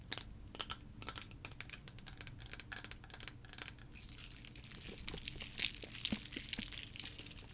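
A liquid-filled clear plastic sensory tube with blue caps is tapped and scratched with long nails and shaken. Quick, crisp clicks and scratchy crinkles repeat irregularly, growing denser and brighter with sloshing hiss in the second half.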